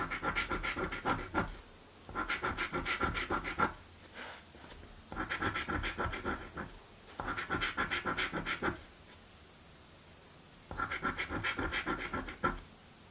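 A coin scratches the panels of a blue paper scratch lottery ticket while the other hand holds the card down. Five bursts of fast, dry rasping strokes are separated by short quiet pauses, with a bright, papery hiss centered around 1.3 kHz.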